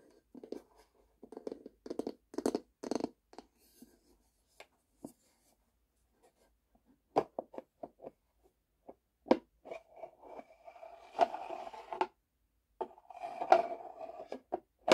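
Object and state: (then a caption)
Plastic container with bamboo lid. Long nails tap and scratch the bamboo lid and frosted plastic sides of a long, empty plastic storage box. Quiet bursts of dry, brushing scratches are broken by short, sharp taps with almost no ring. Later, brief rubbing passages with a steady mid-range tone are heard between the taps.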